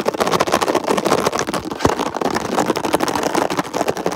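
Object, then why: Ridged plastic container lid. Fingertips and short nails rapidly tap and scratch a ridged red plastic lid, likely from a hollow storage box. The result is a dense, continuous clatter of quick mid-range taps and scrapes with little low end and a steady loudness throughout.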